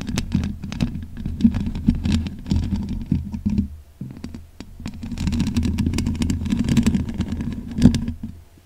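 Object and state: Metal mesh microphone grille being scratched.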